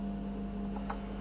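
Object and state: Nothing is struck.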